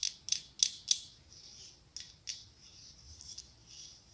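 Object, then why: Pumpkin covered in mirrored glass mosaic tiles. Long acrylic nails tap and scratch quickly across a hollow pumpkin covered in mirrored glass mosaic tiles. A quick run of four sharp, bright clicks is followed by a soft, high scraping hiss, then two more taps and further light scratching. The sound is thin and glassy with almost no low end, and each tap dies away almost instantly.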